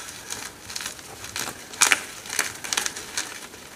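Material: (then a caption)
Magnesium carbonate. Hands with long red fingernails crush broken slabs of solid white gym chalk (magnesium carbonate) over a pile of chalk crumbs. The result is a series of dry, bright, crumbly crunches and crackles with no low rumble, the loudest snaps coming near the middle.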